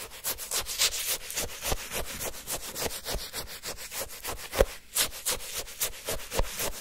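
A wooden stick repeatedly scrapes and stabs the icy surface of frozen orange shaved-ice sherbet in a paper cup. Rapid, uneven crunchy scratching strokes follow one another at roughly three to four per second, with a bright, gritty texture and occasional sharper stabbing crunches.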